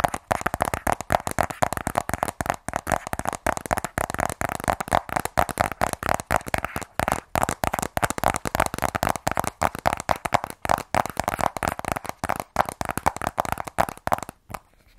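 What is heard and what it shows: Fingernails rapidly tap and scratch the long side edge of a sealed black cardboard iPhone 12 Pro box, where "iPhone" is printed. The result is a dense, steady run of dry, short clicks and scrapes centred in the midrange, each dying away almost instantly, before a brief quiet at the very end.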